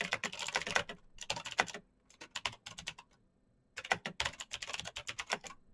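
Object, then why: Plastic mechanical keyboard. Fingertips type fast on a black Razer BlackWidow mechanical keyboard with plastic keycaps on clicky green switches, giving bright, sharp, rapid clicks with very short decay. The keystrokes come in quick bursts: a dense run, a sparser stretch, a brief silence, then another fast run.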